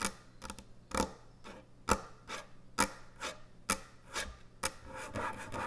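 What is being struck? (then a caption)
Thick end-grain hardwood cutting board. Long nails scratch across the top and front edge of a large, thick, solid end-grain hardwood butcher block cutting board. Dry, rasping scrapes recur at a steady pace of roughly once per second, each beginning with a sharp, bright attack, while softer rubbing strokes fill the gaps between them.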